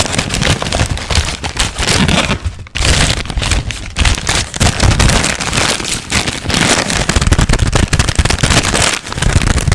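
A large, thin, wrinkled white paper sheet is shaken and crinkled with the hands and fingertips. This produces a dense, continuous crackling and rustling that spreads from a strong low rumble up to bright, hissy highs. The sound dips briefly near 2.7 seconds and again near 9 seconds.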